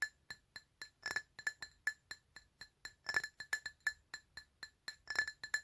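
A glass item is tapped repeatedly in an uneven, fairly quick rhythm. Each tap gives a short, bright clink with a clear ringing tone around 1.7 kHz and high overtones, fading almost at once, with a few faster flurries of taps in between.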